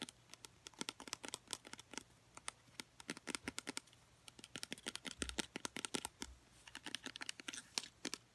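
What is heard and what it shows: A small blue plastic travel-size bottle with a black cap, hollow and apparently filled with liquid, is held in both hands and tapped and scratched on its sides with medium-length painted nails. A rapid, irregular run of sharp, bright clicky taps follows, each dying away almost instantly, mixed with faint scratchy rustling and very little low end.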